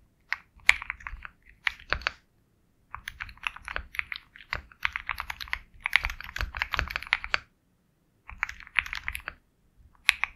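A compact 65% Sugar65 mechanical keyboard with a black hollow case, KTT Kang White switches and white and black double-shot plastic keycaps is typed on rapidly with the fingertips of both hands. Quick, bright, clacky key presses come in several bursts separated by short pauses, each click dying away almost instantly with a faint low thump underneath.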